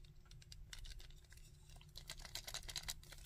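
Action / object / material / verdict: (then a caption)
tap / hard plastic action figure / hard plastic / none. Fingertips and nails tap and scratch across the front, back and arms of a hard plastic Sandman action figure, producing a rapid run of short, dry clicks and bright, high scratching. The sounds sit over a steady low rumble and grow denser and louder toward the end.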